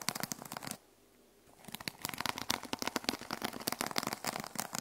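A small notebook with a teal plastic sequin cover, resting on a wooden table, is scratched with long nails using one hand. Dense, rapid, bright clicking and rasping rustle comes in quick bursts, with a brief near-silent pause after the first second before the scratching resumes and continues steadily.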